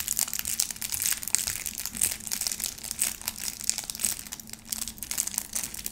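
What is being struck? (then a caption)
Bar of soap in plastic wrap. Long painted nails scratch and squeeze the crinkly pleated white plastic wrap around a small, solid, round bar of soap held in the hands. The result is a dense, continuous stream of bright, crisp crinkling and crackling, mostly high-pitched, over a faint low steady hum.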